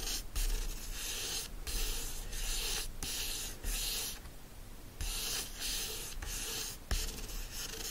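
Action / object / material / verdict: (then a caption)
scrape / hardcover book cover / paper board / none. Fingernails scratch and trace the illustration and lettering on the printed cover of a yellow hardcover book lying flat. Bright, dry scratching strokes come in runs separated by brief pauses, with a softer, quieter stretch near the middle before the rubbing picks up again.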